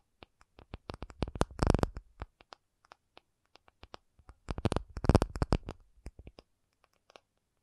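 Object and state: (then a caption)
Acrylic surface. An acrylic object is tapped with fingers in sparse, dry clicks that build into two dense flurries of rapid tapping, each followed by scattered single taps. The taps are short and quiet, with no ring, and carry a soft low thump beneath a brighter click.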